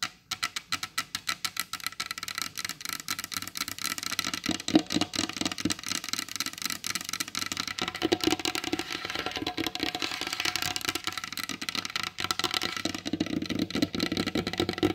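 Long, pointed blue acrylic nail tips tap fast with both hands on a large, solid wooden tabletop with a glossy varnished finish. Short, dry, bright clicks with a brief hollow woody thud come first as separate taps, then blur into a dense, continuous patter that runs to the end.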